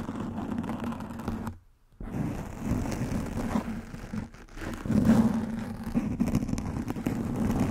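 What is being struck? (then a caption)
Foam microphone windscreen. Fingernails scratch and tap on a soft black foam windscreen covering a microphone head, producing a dense, muffled rustling scrape with a low hum near 230 Hz. The sound drops to near silence briefly around 1.6–2 seconds, dips again around 4.3 seconds, then resumes louder.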